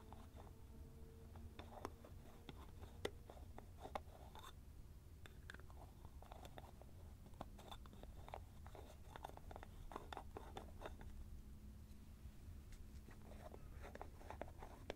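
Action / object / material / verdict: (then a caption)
scrape / small plastic cream jar with screw lid / plastic / none. Fingertips twist the orange lid on a small white plastic cream jar and tap the jar. Quiet, dry plastic clicks, crackly scrapes, and short taps come in a busy stream over a steady low hum, each one dying away almost instantly.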